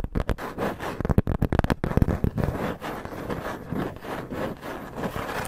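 Fingertips and long nails scratch and rub across a flat, irregularly cut, hand-sized piece of thin brown corrugated cardboard held upright in front of the recorder. The first two seconds are quick, choppy scratching bursts, which then settle into steadier, continuous rubbing. The sound is dull, papery and weighted toward the low end, with little brightness.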